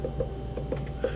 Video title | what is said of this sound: Ceramics I:Trimming a Bowl | if you hear a really really hollow sound it's really thin right here